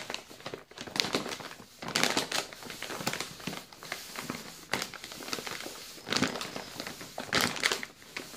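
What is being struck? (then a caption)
Plastic biscuit bag. A full yellow plastic Balocco biscuit bag is squeezed and crinkled with the fingers. Bright, dry crackling comes in uneven bursts, with quieter rustling in between. There is almost no low end, and each crackle stops at once.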